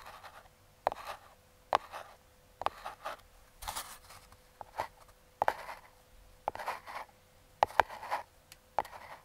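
Metal claw fingertip picks scratch and trace across the top and logo of a small closed Aukey brown kraft cardboard box held by a thumb. Sharp, bright clicks are broken up by short, dry scratching strokes, with a faint steady hum underneath. The sounds are close and dry, with quiet gaps between strokes.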